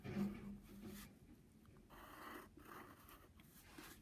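A wooden pencil tip scratches wavy lines and letters across the surface of a flat brown padded paper envelope. Quiet, dry scratching strokes come in short bursts with brief pauses, the first burst slightly louder with a soft low rub. The papery scraping fades quickly between strokes, leaving a hushed, close sound.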